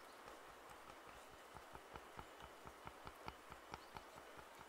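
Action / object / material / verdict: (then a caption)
tap / plastic over-ear headphone earcups / plastic / none. Fingertips tap the hollow earcups of white and black plastic over-ear headphones held in both hands. The taps are light, quick, and hollow-sounding, with bright clicky edges and almost no ring. They come in an uneven rhythm over a steady soft hiss.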